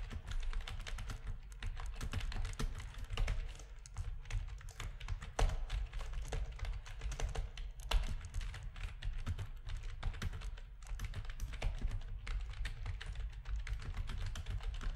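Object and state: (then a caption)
Plastic keyboard being typed on. Rapid typing on a full-size black plastic backlit RGB gaming keyboard with a hollow housing, pressed with the fingertips of both hands. The dense stream of quick, short clacks never lets up, with a deep hollow thud under each press and little brightness.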